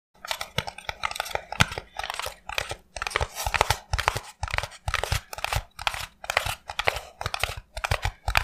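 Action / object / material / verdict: tap / expanded polystyrene foam block / polystyrene foam / none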